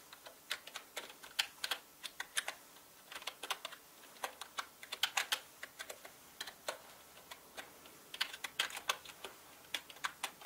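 Fingertips of both hands type on a full-size black plastic mechanical gaming keyboard with plastic keycaps. The result is quick bursts of short, bright, clicky keystrokes with brief pauses between runs, each clack dying away almost instantly with no low-end thump.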